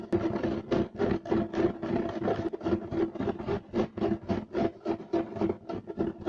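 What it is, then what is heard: Woven fiber carpet. Fingernails of two hands scratch rapidly across a beige striped loop-weave woven fiber carpet. About two dozen quick, rasping strokes follow in a brisk, uneven rhythm, each a dry, scratchy burst with a mid-range tonal ring around 355 Hz and little bass.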